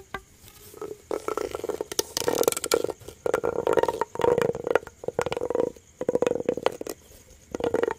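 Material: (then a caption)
Plastic. A yellow ribbed, hollow plastic corrugated pop tube is stretched, bent and scratched with fingers and nails. It makes bursts of dense crackling and ratcheting clicks over a humming tone near 480 Hz. Short quiet gaps separate the bursts.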